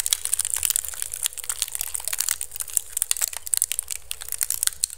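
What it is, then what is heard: Woven bamboo basket scratched. Fingertips and nails quickly scratch a hollow, empty pink woven bamboo basket turned upside down over the mic. The result is a dense, fast stream of dry, crackly scratches and sharp little clicks, bright and crisp with only a faint low rumble underneath.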